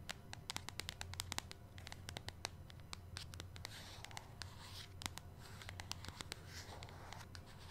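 Long nails tap and scratch across the front of a flat, hollow, medium-size white printed cardboard Grace & Stella face mask box. A quick series of sharp, dry clicks mixes with papery scratching over a steady low hum.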